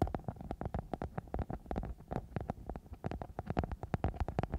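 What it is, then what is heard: Glitter foam sheet being scratched. A sparkly silver glitter foam sheet, a thin flexible sheet wrapped over a microphone and a hollow shape, is scratched and rubbed with the long manicured nails of both hands. The result is a rapid, close series of short, muffled taps and scrapes, heavy in low thumps with a steady mid-range hollow tone. Each stroke dies away almost instantly.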